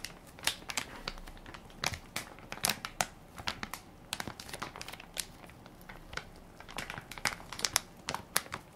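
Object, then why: Soft plastic-film wipes pack. A hand-sized Equate baby wipes pack made of soft plastic film with a hard plastic flip lid, full and plump with wipes, is held in one hand while the fingertips and nails of the other press and crinkle the film near the lid. A steady stream of bright, crisp crinkles and sharp crackling snaps is heard, with little low end. The crackles come in quick irregular bursts that fade almost instantly.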